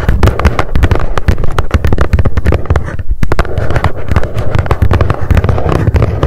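Long nails tap fast on the top of a small, hollow, white printed cardboard mailer box resting on a fluffy mat. The result is a rapid, steady stream of short, dry, hollow thumps with a deep low body and almost no ring, with a brief lull around the middle before the tapping resumes.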